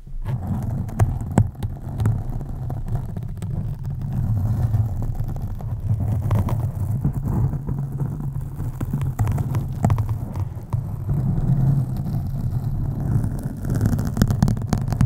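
Long acrylic nails on both hands scratch a black foam windscreen on a USB microphone. The result is a continuous, deep, muffled rumble centered low, with many soft brushing scrapes and occasional brighter crackles throughout.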